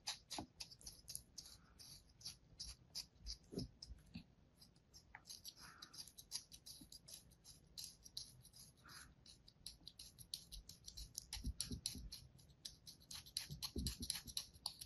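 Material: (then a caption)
Kinetic sand. A palm-sized solid slab of kinetic sand resting on an open hand is repeatedly scratched and sliced with a thin metal blade. The result is a fast, uneven series of quiet, crisp scraping ticks with a bright, hissy grain and a few soft, dull thuds underneath, each dying away almost instantly.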